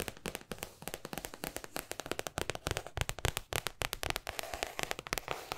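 A large white spiral-bound paper sketchbook with a thick cardboard-backed pad, held upright in front of the microphone, is tapped and scratched on its paper surface and edges with long acrylic nails and fingertips. A rapid, uneven stream of sharp, crisp clicks and papery scratches runs throughout, bright and dry with almost no ring.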